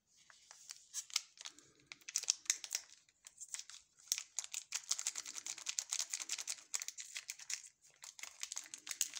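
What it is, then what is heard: Plastic candy bar wrapper. Gloved fingertips squeeze and rub a small, sealed, full ALBO caramel chocolate bar in a glossy orange plastic film wrapper. The wrapper gives off a dense run of sharp, bright crinkles and crackles in quick bursts with short pauses, with almost no low end and no ring after each snap.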